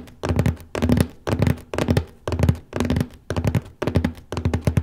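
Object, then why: Cardboard copy paper box lid. Fingertips tap steadily near the lower middle of the lid of a large cardboard copy paper box. The taps come in quick, rhythmic bursts of soft, dull, low thunks that die away almost at once, with a faint papery rustle on top.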